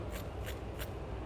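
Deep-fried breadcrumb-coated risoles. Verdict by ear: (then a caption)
Crispy. The breadcrumb crust of a freshly deep-fried risoles is scraped, giving short, bright, dry scratching rasps over a steady low rumble. The crust sounds very crispy.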